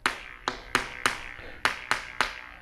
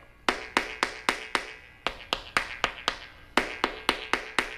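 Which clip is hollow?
The second.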